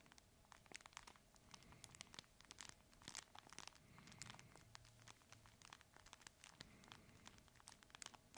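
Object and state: Fabric crinkle plush toy.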